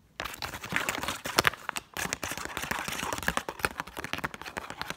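Long acrylic nails tap and scratch quickly along the surface of a single Egyptian 10-pound paper banknote held up in the air, while other folded notes lie untouched on a table. The result is a rapid stream of crisp, bright paper crackles and sharp clicky taps with little low end. There is a brief pause just before the two-second mark before the scratching resumes.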